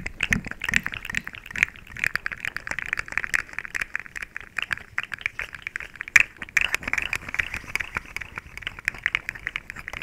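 A small, hollow, rainbow-colored plastic slinky coil toy is bent, compressed and clicked with fingertips and long nails right next to the microphone. The result is a dense, irregular stream of sharp, dry plastic clicks and crackles with a bright, ringing tone around 2.4 kHz and very little low end. A few soft, low thumps come near the start, and a louder snap lands around six seconds.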